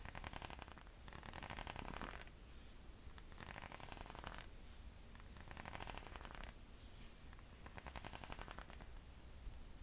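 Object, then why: Leather and rubber sandal. A chunky sandal with silver and black leather straps and a thick white rubber tread sole is held up while fingernails tap its straps and sole. The soft, rapid tapping comes in repeated bursts over a quiet, low background hum.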